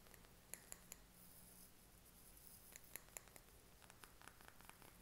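Short fingernails tap the sides and labelled base of a small clear glass candle jar filled with green wax. The quiet, sharp, bright ticks come in small clusters and die away almost instantly, over a soft steady low hum.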